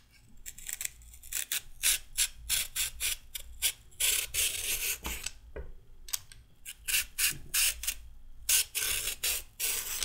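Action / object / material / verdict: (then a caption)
scrape / raw carrot / carrot / none. A solid raw carrot is held upright and scraped with a red-handled metal peeler in repeated peeling strokes. Each stroke is a short, bright, raspy scrape, coming in a quick, uneven series with brief pauses between runs.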